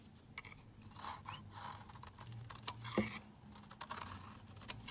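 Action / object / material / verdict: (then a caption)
scrape / bar of soap shaved with a metal blade / soap / none. A metal utility-knife blade shaves long curls off the edge of a rectangular, solid cream soap bar held in the hand. The sound is a quiet, continuous crunchy scraping with dense clicks and crackles and bright rasping strokes, over a faint low hum. One sharper snap stands out near the middle.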